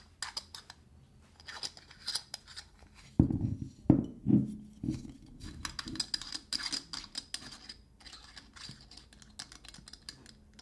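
Fingertips and nails tap, scratch and twist the metal screw cap on a dark glass linseed oil bottle. Quick, uneven clicks and bright scratchy rasps run throughout. A few fuller, louder knocks come in the middle.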